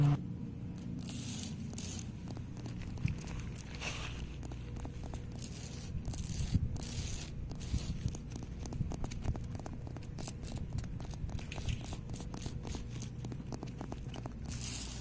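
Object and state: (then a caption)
Stone paver. Fingernails scratch and tap the surface of a flat, solid, lichen-spotted reddish-brown stone paver set in the grass. A steady, dull scraping runs throughout, broken by many short, dry taps and brief bright scratches, mostly low in tone.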